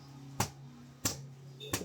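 Three short, dull knocks ring out on the crust of the smaller of several freshly baked sourdough potato village loaves, just out of a stone oven. Each knock is brief and hollow, with a steady low hum underneath. The loaf is baked through.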